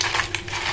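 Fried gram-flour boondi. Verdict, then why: Crisp. Fried gram-flour boondi made with added wheat flour (atta) are handled and crushed to check their crispness, giving short, bright crackling crunches over a steady low hum. They come out very crispy.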